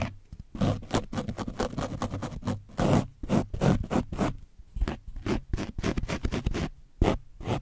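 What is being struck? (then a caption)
Foam microphone windscreen with dried paint. A foam brush on a wooden stick is rubbed along the sides of an orange foam microphone windscreen coated in dried paint. The result is a fast series of rough, zipper-like scraping strokes, each a dense burst of scratchy noise. The strokes carry a heavy low rumble beneath bright hiss.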